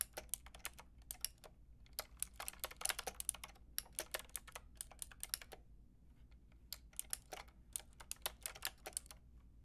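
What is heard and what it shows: A Lofree plastic mechanical keyboard with a plastic frame and round keycaps is tapped by fingertips with long red nails. Quick, bright, clicky keystrokes come in irregular bursts with brief pauses over a faint low hum. Each tap is sharp and dies away instantly.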